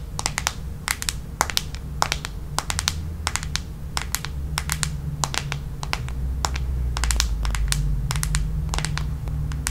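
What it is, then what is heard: Plastic hairbrush back. Long nails tap and scratch the smooth red plastic back of a paddle hairbrush. Quick, irregular bright clicks come in clusters over a steady low rumble. Each tap dies away almost instantly.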